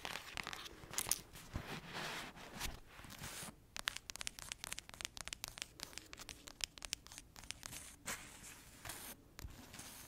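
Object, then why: Paperback book. Long acrylic nails scratch across the cover and page edges of a thick paperback novel. The result is dry, bright, papery scraping and rustling, broken by rapid, sharp ticks and clicks as the nails catch the page edges.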